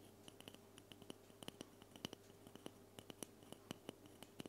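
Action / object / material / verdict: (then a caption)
tap / aluminum aerosol spray can / aluminum / none. A hand-sized, silver-white cylindrical aluminum aerosol spray can with a hollow metal body is held in front of the recorder and scratched and tapped with long painted nails. About two dozen short, sharp taps ring out as dry, bright metallic clicks that die away almost instantly, over faint scratching and a low, steady background hum. The whole passage stays quiet.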